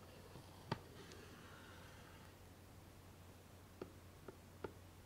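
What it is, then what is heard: Hollow cardboard gift box. A large, closed, hollow pink cardboard gift box with a ribbon bow is tapped on its lid and sides with the tip of a twisted metallic stick. Four short, dry, muffled taps with almost no ring stand out against a quiet, steady low hum: one early on, then three close together near the end.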